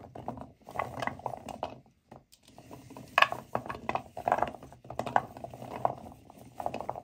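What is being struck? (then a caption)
Natural cork wine stoppers in a bowl. Hands with nails grind and rub a pile of dry, solid natural cork wine stoppers in a white bowl. Dense cork-to-cork creaks and dry clicks come in bursts, centered in the mid-range around 1 kHz, with a brief pause near the two-second mark and a few sharper, brighter clicks.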